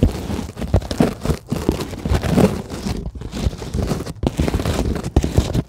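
Long glittery acrylic nails scratch fast across a flat, solid, white closed-cell polyethylene foam sheet. The result is a dense, crinkly, rustling scratch that is mostly low and muffled, with a few brief pauses between flurries.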